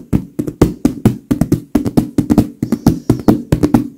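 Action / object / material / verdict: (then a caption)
tap / filled leather pillow / leather / none. Both gloved hands tap and pat quickly on a large, filled white leather pillow with long nails and fingers. About two dozen short, dull, soft thuds land in quick, uneven clusters, with low-mid body, brief bright nail clicks and almost no ring.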